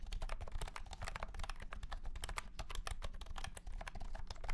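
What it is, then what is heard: Plastic keyboard with round keycaps, hollow case. A white and pink cat-shaped keyboard with round plastic keycaps in a hollow plastic case is typed on rapidly with the fingertips of both hands. A fast, continuous stream of light, clicky keystrokes with bright ticks rides over a low, hollow thump from the case.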